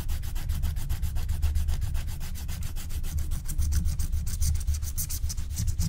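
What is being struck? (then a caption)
Wax-coated scratch-art card scraped with a wooden stylus. A wooden stylus scratches the black wax coating along the top edge of a flat, thin scratch-art card in fast back-and-forth strokes, while a long-nailed hand rests flat on the sheet. The result is a steady, rapid rhythm of dry scratching strokes over a strong low rumble, with bright hissy edges that grow sharper toward the end.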